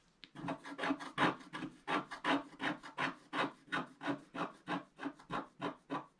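A wooden stylus scrapes away large areas of coating on a flat, black-coated scratch-art card, working in a blue cloud band. Quick, fairly even back-and-forth strokes, about three per second, make a dry, rasping scratch that is mostly midrange with a bright edge. Each stroke swells and fades quickly.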